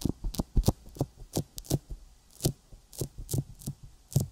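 Fingertips tap a sticky silicone binaural microphone ear coated with petroleum jelly, producing a steady series of soft, deep, muffled thumps. Each tap carries a brief bright, tacky click as the fingers pull away from the jelly-coated surface.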